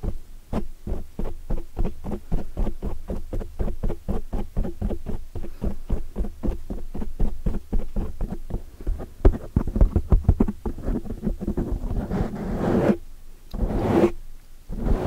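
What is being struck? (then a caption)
Foam microphone windscreen. Long metallic nails scratch and tap the sides and front of a black foam microphone windscreen. A rapid, steady run of dull, low thumps continues for most of the clip, then gives way to a few longer, brighter scratching bursts near the end.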